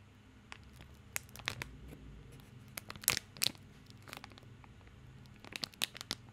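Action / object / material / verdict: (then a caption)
scrape / plastic film wrapper around a bar of soap / plastic film / none. A small bar of soap in a crinkly plastic film wrapper is held in both hands while fingertips scratch and crinkle the wrapper. Quiet, bright crackles and sharp snaps come in scattered bursts over a faint low hum. Each snap stops almost instantly.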